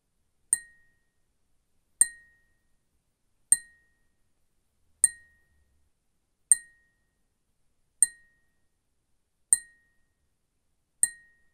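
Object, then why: Glass cup tapped with a fingernail. A glass cup is tapped with a fingernail eight times at a slow, even pace of about one tap every 1.5 seconds. Each tap is a bright, glassy clink with a high sheen and a faint, brief ring around 2 kHz that fades within a fraction of a second, with silence between taps.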